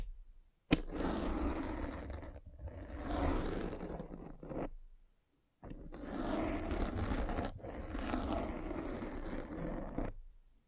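A hand with long red nails rolls and presses a derma roller with tiny metal spikes into a black foam windscreen over a microphone. It makes a dense, rough scraping and crunching with a heavy low rumble. The sound comes in two long stretches separated by a brief silence, swelling and dipping as the roller moves.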